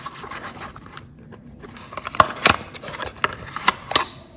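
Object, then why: Bar of soap. A solid, unwrapped, hand-sized light blue bar of soap held in one hand is tapped and scratched by long orange-painted fingernails. Soft scratchy rubbing gives way to a series of sharp, bright clicks, with the loudest spaced irregularly across the second half.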